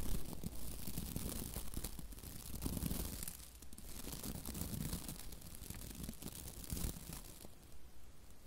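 Long nails rake the white plastic bristles of a hand-sized scrub brush with a labelled handle, close to a microphone. It makes a steady, dense scratching and crackling with a bright, hissy edge over a low rumble, swelling and easing in waves for the whole clip.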